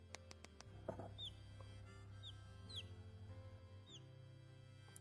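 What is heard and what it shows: Four light taps on an unhatched chicken egg past day 21 are followed by high, falling chirps from the chick inside, over a steady low hum. The chirping shows the chick is alive, so the egg goes back in the incubator.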